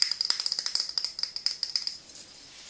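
Long nails tap a medium frosted glass skincare serum bottle with a silver pump top, held in both hands. Fifteen quick, bright clicks with a high glassy ring fade after about two seconds into faint, quieter tapping.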